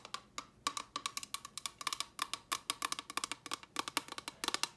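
Long fingernails tap a small, hollow, empty, clear rigid plastic box held in the hand. The result is a rapid, uneven run of sharp, dry clicks with a bright, hollow tone around 1.1 kHz, each dying away almost instantly with no low-end body.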